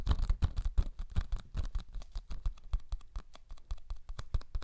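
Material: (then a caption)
Cellulose. A small, flat, yellow cellulose sponge, porous and soft, is held in both hands close to the mic and scratched and squeezed with the fingertips. It makes a fast, uneven stream of short, dry crackling scratches with a soft, low, muffled body, and each one dies away almost at once.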